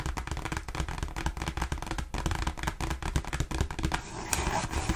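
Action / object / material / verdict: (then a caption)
tap / glossy cardstock greeting card / cardstock / none. A thin glossy cardstock Christmas card reading "For All of You" is held in both hands and tapped fast across the front with long pink nails, then held closer at the end. Rapid, crisp clicking taps run over a low rumble. Near the end the sound turns into a steadier, brighter rustle.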